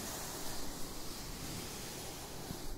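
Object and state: Nothing is struck.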